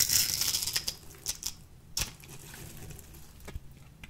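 A small metal blade with a purple handle cuts and shaves a light green, solid, dry bar of soap held in the palm. A bright, crumbly scraping opens the clip, followed by quieter scratching with sharp, high clicks and snaps as shavings break off.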